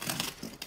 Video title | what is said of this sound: PAIN AU LEVAIN DE BLE PARFUME AUX TROIS GRAINES | avec une croûte bien croustillant